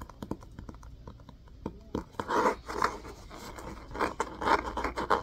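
Fingernails scratch and scrape the spine of an orange hardcover book with a cloth-covered cardboard cover, held in both hands. Quiet, quick ticking scratches give way to louder, longer rasping scrapes centered in the midrange, with bursts of bright texture.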